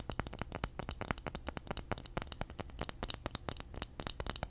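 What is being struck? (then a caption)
Flat round bamboo disc. Fingernails scratch and tap the face and edge of a flat, solid, round, palm-sized bamboo disc held near a foam microphone. A rapid, uneven series of dry, close clicks and scratchy strokes is heard, each with a low, soft body and a brief bright tick that stops almost at once.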